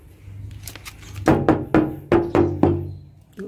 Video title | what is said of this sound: SOLD..!!! - Isuzu Panther LV 2.5 Turbo 2010 - "RAJANYA DIESEL" | masih aman ya, masih kaleng